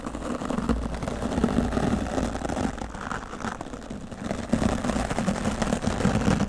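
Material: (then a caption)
Foam. A hand-held oval wooden-backed natural-bristle dry brush sweeps over a solid, soft dark grey foam microphone windscreen, with long nails resting on the foam. It makes a continuous scratchy, crackling rustle over a low, muffled rumble. The sound eases off in the middle and then grows louder again.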